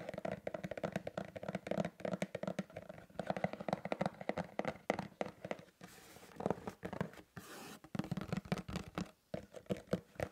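A sealed, medium-sized, hollow printed cardboard LEGO box lies flat on a black mat while fingertips and nails tap and scratch its top face. The result is a dense run of quick, dry taps with a hollow mid-range body and rough scratching strokes. Two short, brighter hissing scrapes break the rhythm midway before the tapping resumes.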